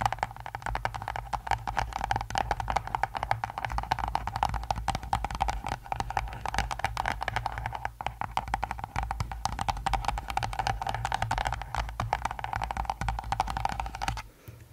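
Long acrylic nails rapidly tap and scratch the top of a small rectangular pink cardboard box, likely hollow and closed, resting on a furry mic cover. The result is a dense, continuous stream of quick, hollow papery clicks and scrapes with a boxy midrange tone and a steady low rumble underneath. The tapping continues for about fourteen seconds before stopping into near silence.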